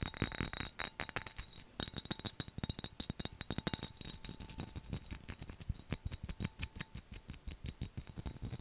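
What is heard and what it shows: Fingernails tap and scratch the skull relief and lid area of a hollow, mid-sized black textured glass skull mug with a handle and lid. The result is a rapid, steady run of short, sharp clicks with a bright glassy clink, mixed with brief scratchy rasps. Each tap dies away almost instantly.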